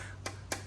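Two short, hollow knocks on the chrome-plated cover fitted over the aluminium front fork of a 2008 Yamaha Grand Majesty 400cc fuel-injected scooter, the cover held on with thick 3M tape. Each tap is a quick, dull, plastic-sounding click with a bright edge that dies away almost at once over a steady low hum. The plastic sound is normal: what is being struck is the chrome cover, not the aluminium fork itself.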